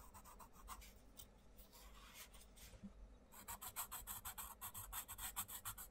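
A wooden coloured pencil rubs shading strokes onto a butterfly drawing in an open paper colouring book while the other hand spreads and holds the page. Soft, irregular scratchy rubbing gives way after about three seconds to faster, louder back-and-forth strokes with a bright, raspy high hiss.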